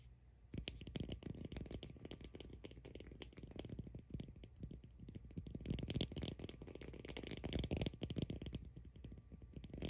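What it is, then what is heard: Cork ball scratched and tapped with nails. Long acrylic nails scratch and tap a solid cork ball held close, giving a dense run of soft, dry, low-heavy clicks and scratches. The taps come fast and irregular across the clip, with the level swelling slightly in the second half.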